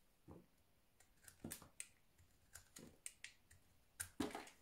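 A utility knife blade slices chunks off a solid orange soap bar held in the hand. Around a dozen short, crisp, dry cuts and crumbles sound out, each with a bright edge. The last one, near the end, is the loudest, and all are set against a quiet background.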